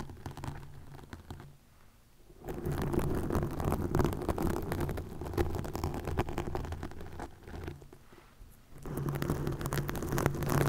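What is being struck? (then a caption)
Plastic mesh net over a microphone. Long nails scratch a green plastic mesh net stretched over a microphone, making dense, rapid scratching and rustling with a steady low tone underneath. The scratching drops to near quiet around 2 seconds and again around 8 seconds, then picks back up at full intensity.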